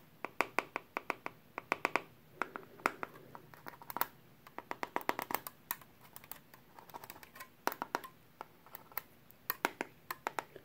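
A small perforated sheet-metal hard drive caddy, held in a gloved hand, is tapped on its edge with a pen tip. Dozens of quick, light ticks come in an irregular rhythm. Each is a sharp, bright click with a faint metallic tone around 1.1 kHz that dies away almost instantly over a quiet background.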